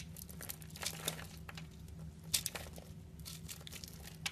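A utility knife blade scrapes and cuts small cubes off a solid purple bar soap with a pre-scored grid, held in the palm. Soft, bright crinkly scraping is broken by sharp crisp snaps as pieces break away, over a low steady hum.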